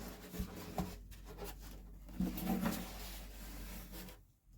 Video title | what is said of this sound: Pt 1 The Daniel. A Craig Williams Flame Cherry acoustic guitar build. Herringbone purfling. | quite a solid sound there